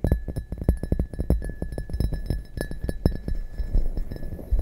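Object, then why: Glazed ceramic mug. Long dark nails tap quickly and repeatedly on the bottom and sides of an upside-down, hollow, empty red glazed ceramic mug. The taps are soft, deep thuds that die away almost instantly, with a faint steady high tone running underneath.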